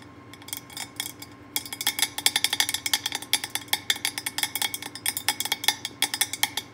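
A glazed orange ceramic pumpkin candy jar with a black knob lid and cut-out face, hollow and filled with wrapped candy bars, is tapped with fingertips and long painted nails on the lid and top. Around forty bright, clicky taps with very short ring start soft and sparse, then turn quicker and louder after about a second and a half.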